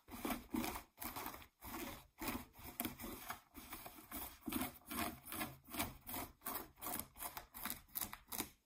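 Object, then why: Denim jeans. Fingernails scratch the fabric around the waistband of blue ripped denim jeans laid flat. The result is a quiet, dry, broadband rasping in a steady back-and-forth rhythm of about 21 short strokes, each fading quickly with a bright, hissy edge.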